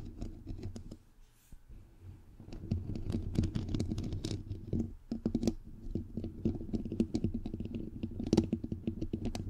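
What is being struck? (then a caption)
Metal mesh microphone grille. Long nails scratch and fingertips tap on the bare, hollow white metal mesh grille of a microphone head. Dense, close-up taps and scraping rustles come through with a boomy, low thud under each touch and only faint bright edges. A quieter stretch near the start gives way to busier, louder tapping that continues to the end.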